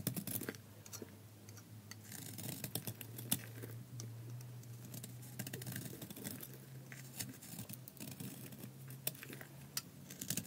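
A palm-sized solid bar of dry soap with a black outer layer, held in one hand, is shaved by a metal utility blade in scraping cuts that peel off curly soap flakes. Quick, dry, crisp scrapes and ticks with bright edges come in rapid irregular bursts over a steady low hum.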